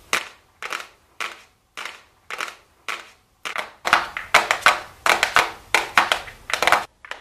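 A small, flat, hollow gold-printed cardboard makeup box labelled "golden" is held in both hands and tapped and lightly scratched with super long blue acrylic nails. Dry, papery taps with short scratching tails come in a steady series at first, then crowd into faster, denser clusters of louder taps in the second half.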